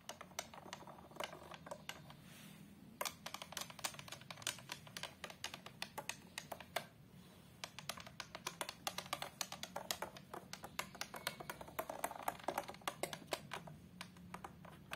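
Long colored acrylic nail tips tap rapidly on the glass surface of a large glass-fronted picture frame, near its patterned border. Dozens of sharp, bright clicks come in quick, uneven bursts, each dying away almost instantly over a faint low background hum.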